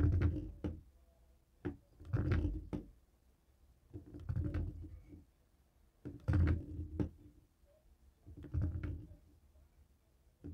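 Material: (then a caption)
Plastic. A dark grey plastic cable TV remote resting on a wooden table is tapped and knocked with the stone head of a jade roller. The result is dull, low-pitched thuds and clattering knocks, coming in short irregular bursts with quiet pauses between them. The sound has almost no bright edge and only a brief ring.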